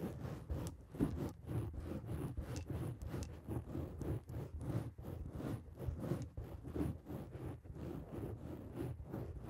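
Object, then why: Foam microphone windscreen scratched with fingernails. A black foam microphone windscreen is scratched and tapped by the long acrylic nails of both hands. Dense, muffled, low scratching and rustling comes in quick repeated strokes, with soft taps and brief bright flicks.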